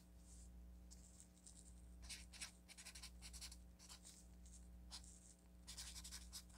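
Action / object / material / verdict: scrape / paper sticky note pad written on with a felt-tip marker / paper / none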